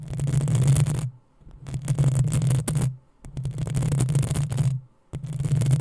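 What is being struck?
Metal mesh microphone grille.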